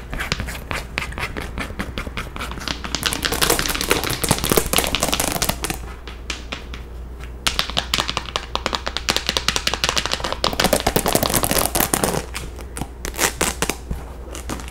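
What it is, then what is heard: Rhinestone-covered cap tapped and scratched. Long nails tap and scratch on a hollow pink baseball cap covered in small plastic rhinestones, held close. Dense, bright, dry clicks come in fast flurries that swell around 3 to 6 seconds and again from about 7.5 to 12 seconds, with softer scratching between. A steady low hum sits underneath throughout.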